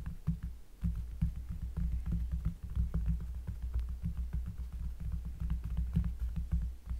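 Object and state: Cork trivet traced with fingernails.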